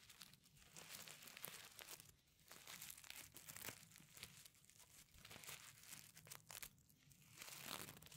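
Fingertips and nails scratch and flip the reversible sequins covering a flat pencil case. The result is a quiet, continuous bright crinkling and rustling, full of tiny clicks that swell and fade in waves over about eight seconds.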